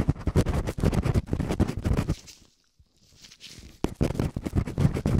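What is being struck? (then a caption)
Soft silicone ear covers of a binaural microphone. Latex-gloved fingertips quickly scratch and rub both small, hollow, soft silicone ear covers of a binaural microphone. The result is a dense, fast run of muffled, low-heavy scratching and rubbing bursts that fade to near silence for about a second midway. The scratching then resumes with a sharp rub and continues at the same quick pace.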